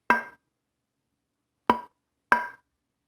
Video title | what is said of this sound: Guitar Wood Differences | that sound is very it hits the sort of note it is very bright and sounding